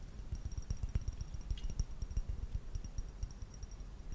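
Fingernails tap quickly on the rim and body of a medium, hollow, empty clear glass vase held in one hand. The taps come fast and uneven, each a short, soft knock dominated by low thud energy, with faint bright glassy pings that fade almost instantly.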